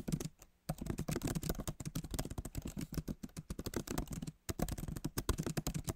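Fingertips of both hands type on the backlit keyboard of a MacBook Pro, tapping its plastic keys set in a solid aluminum body. A fast, dense run of short, dull clicks with a low thump under each keystroke, pausing briefly near the start and again around four and a half seconds before resuming.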